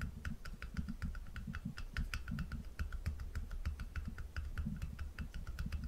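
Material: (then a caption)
Glass. Fingertips quickly tap a small, round, apparently empty glass jar and its dark lid while it is held in one hand above a wooden table. The result is a rapid, steady patter of short, light clicks with a thin bright edge that die away almost at once. A low, throbbing rumble runs underneath throughout.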